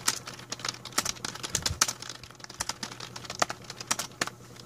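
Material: Plastic.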